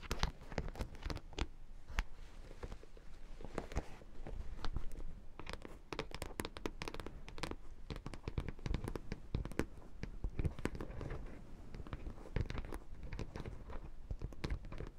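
Long nails scratch and tap across the metal studs of a hollow, lip-shaped black faux leather clutch held in both hands. The result is a dense run of quick, dry clicks and scratchy crackles with a low, hollow thump beneath them, steady throughout the clip.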